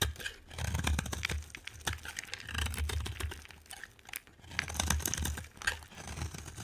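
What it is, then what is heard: Dry soap bar being carved. A solid, brown, translucent bar of dry soap is carved with a metal utility knife blade, and crumbly flakes pile up beside it. Dense, crisp crackling and scraping run in uneven bursts, with bright, brittle detail over soft low thuds. The clip has no talking.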